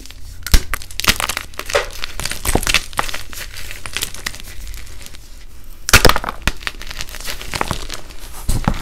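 Blue-dyed, reformed gym chalk pieces, solid and brittle, are squeezed and crumbled by both hands in a bucket, breaking into small crispy chunks and dust. The sound is a dense run of crisp, glassy crackles and snaps with a faint low hum underneath. Sharper, louder cracks stand out near the start, around the sixth second and again at the end.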